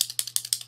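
A plastic bottle of glucose test strips is shaken, and the strips rattle inside it in four quick, sharp bursts, each followed by a softer echoing rattle. The clicks are dry and bright, almost entirely high-pitched, with a faint steady low hum underneath.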